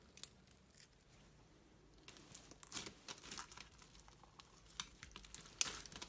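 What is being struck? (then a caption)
Clear slime with plastic pearls and beads. Fingers with long pink metallic nails press, fold and squeeze a hand-sized lump of clear glitter slime packed with pastel plastic pearls, flatback gems and beads on a white surface. Quiet, bright crinkling and crackling fills the clip, broken by scattered sharp little clicks and pops that stop short with no ring.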